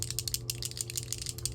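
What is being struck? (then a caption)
Bottle of liquid foundation with a small mixing ball. A bottle of L'Oréal Skin Ink liquid foundation, shade 265 neutral, is shaken hard so the small mixing ball inside rattles, as it normally should, to mix the product well before applying. The sound is a rapid run of sharp, bright clicks and rattles over a steady low hum.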